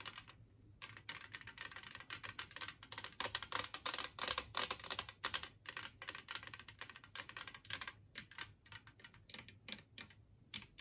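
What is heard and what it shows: Long nails from both hands tap rapidly across the glaze of a large, flat, green glazed ceramic Christmas tree-shaped plate, which is empty. The result is a quiet, uneven stream of bright, crisp clicks that stop short with almost no ring, sounding like fast typing on a keyboard.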